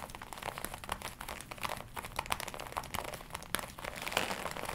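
A glossy black leather jacket worn on the body is tapped and scratched across the chest area with long nails. The result is a dense run of soft crinkling and crackling with quick, dry taps poking through, mostly bright with little low end and no ring.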